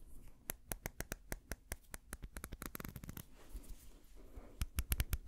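Fingertips and nails quickly scratch and tap a small amber-brown glass dropper bottle with a white dropper cap, held close. Rapid, sharp, bright clicks and taps come in quick bursts, with a scratchy rustle in the middle and the loudest taps near the end.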